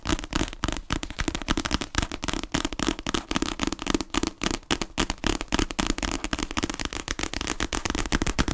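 A solid paper paperback book is held horizontally in both hands in front of the mic while long nails tap fast on its cover. The rapid, uneven taps make dry clicks with a hollow, papery thump around 300 Hz and a bright crackly edge, each dying away almost at once.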